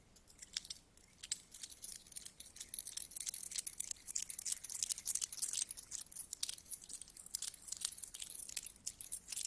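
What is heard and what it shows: Two solid metal coins are held up and rubbed together, then coins are picked from the pile. The result is a quiet, dense stream of bright metallic clinks and scrapes with almost no low end. The sharp, short ticks build and thicken in the middle of the clip.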